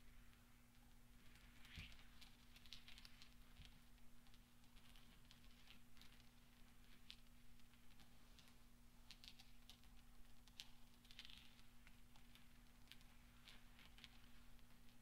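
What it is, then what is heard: Steel pachinko balls. A loose pile of small solid steel pachinko balls on black velvet is gently rolled, pushed and clinked together under the fingertips of both hands, with dark painted nails and rings worn. Soft, bright metallic clicks and light ticks patter steadily over a low constant hum, the many quick taps running close together throughout.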